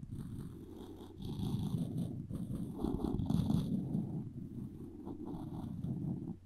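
A floss string looped around the handle of a solid wooden spoon is rubbed back and forth, making a low, buzzing scratch centered around 170 Hz with faint bright hiss above it. The sound swells and fades in rough, uneven strokes for about six seconds.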